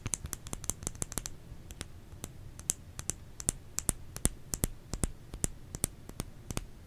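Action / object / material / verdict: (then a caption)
tap / solid bar of soap / soap / none. Fingers tap on a solid bar of soap in an irregular run of about 34 quick, sharp taps. Each tap is a dry, bright click that dies away almost instantly, over a soft low hum.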